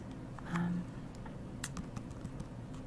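Long fingernails tap and click on the glossy hard block heel and platform of a single black patent leather Coach Isabella platform sandal-pump as it is held in the hands and turned. Quiet, light, bright clicks scatter over a low, muffled handling rustle, with a brief louder swell early on.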